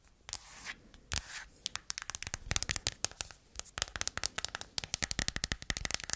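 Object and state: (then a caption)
Silicone phone case tapped and scratched with nails. Long painted nails tap and scratch the back and edges of an empty, matte yellow silicone phone case held in the hands; the case is small and hollow. Soft scratching swells open the clip, then gives way to a rapid run of sharp, bright clicking taps that fade almost instantly.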